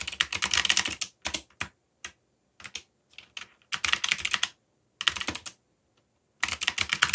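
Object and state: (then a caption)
Mechanical keyboard typing. Fingertips type on a backlit mechanical keyboard with black plastic keycaps and a yellow backlight. Quick bursts of bright, sharp key clicks come in uneven runs, separated by short pauses and a few isolated taps, each click dying away almost instantly.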